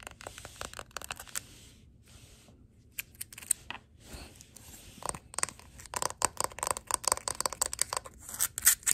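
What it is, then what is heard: Glass jar candle. Long glittery nails tap and scratch the white wax surface and glass rim of a large glass jar candle tilted on a wooden table, then tap its labelled glass bottom. The sound is a run of quick, bright clicks and scratchy scrapes that briefly quiets near the start. The tapping then grows denser and louder toward the end.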